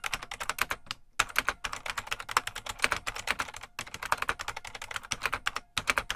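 Fingertips of both hands type continuously on a full-size beige plastic IBM Model M mechanical keyboard with a hollow case. It makes a rapid stream of sharp, bright clicks with very short decay and little low end. The typing pauses briefly three times before resuming.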